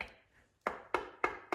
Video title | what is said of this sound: It’s good to be a hoarder when it saves the day | you can hear that hollow sound. That's because it's not tight enough